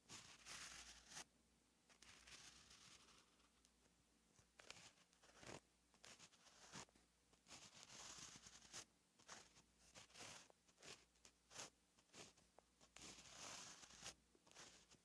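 A gel pen held by the fingertips writes continuous strokes on a flat, lined paper notebook page, its tip scratching across the paper. Soft, bright scratches and brief rustles repeat in quick bursts, with little low end.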